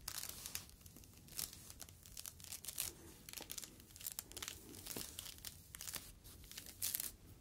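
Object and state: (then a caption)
Foam fruit protective net. A yellow foam mesh fruit protective net is squeezed and crumpled between the fingertips. It gives off quiet, dense bursts of bright crackling and crinkling that come and go in uneven waves, with short sharper snaps standing out over a soft hiss.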